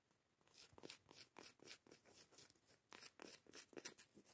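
Long nails and fingertips scratch and rub the grainy face of a round, solid cork coaster lid held in the hands. The result is quiet, bright, crackly scratching in rapid, uneven strokes with almost no low end, and each stroke cuts off dry with no ring.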